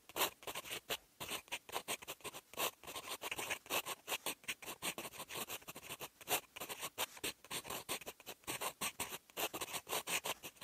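A fountain pen's steel nib scratches across a sheet of lined writing paper while writing in green ink. The sound is a quick run of dry, bright, scratchy strokes with short gaps between them, carrying almost no low end.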